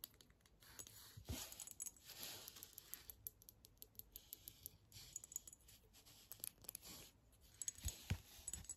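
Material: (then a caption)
Glass. A small clear glass reed diffuser bottle filled with orange liquid, with a black cap and a reed sticking out, is held in hands and then set on a table while long nails tap and click on the glass. Quiet, irregular, bright clicks and taps follow one another with very short ring, broken by a few dull low thumps.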